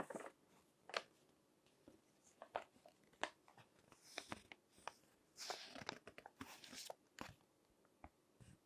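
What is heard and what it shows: Fingertips with long nails grip and turn the pages of a thick, wrinkled glossy-paper fashion magazine lying flat on a table. The paper gives off quiet, sharp crinkles and snaps between short, bright rubbing swishes. The bursts are scattered over a soft, hissy background.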